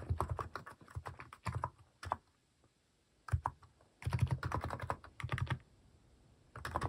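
Fingertips type on a cream plastic mechanical keyboard fitted with plastic cat and paw keycaps. Bursts of quick, short clacks with a low thocky body alternate with brief pauses, and one longer silence falls midway.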